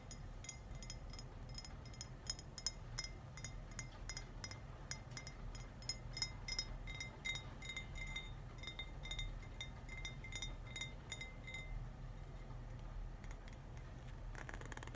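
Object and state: Glass wine bottle, partly filled.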